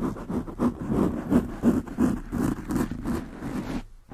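Long nails scratch quickly on both sides of a black foam windscreen on a desktop microphone. It makes a close, muffled scratching rustle in a rapid, uneven rhythm of about three strokes per second, with most of the energy in the low-mids around 240 Hz. The scratching drops to near silence just before the end and then picks up again.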